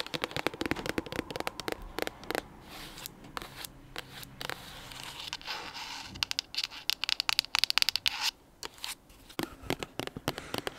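A pink-white plastic cosmetic squeeze tube is tapped and scratched fast with long acrylic nails, giving dense bursts of sharp, bright clicks and crackly scratching. A smoother high rasp swells in the middle before the rapid clicking returns.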